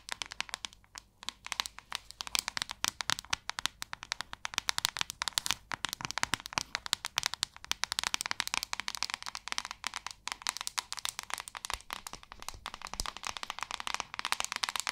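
Long acrylic nails rapidly tap and scratch the back of a hand-sized white plastic paddle hairbrush. The result is a dense, continuous stream of sharp, dry, bright clicks and crinkly scratches with almost no low end and no ring after each hit.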